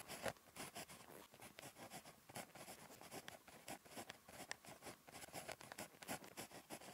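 A ballpoint pen tip scratches handwriting across a thin, flat, lined paper notebook page, giving a quiet, continuous run of short, dry scratching strokes with a bright, papery hiss. Each stroke dies away almost at once.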